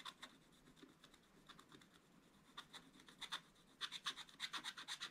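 The tip of a wooden stick rapidly scratches a wax-coated scratch-art paper page while the other hand holds the book. It makes a quiet series of short, dry, bright scratching strokes at an uneven rhythm. The strokes grow louder and come closer together in the last second and a half.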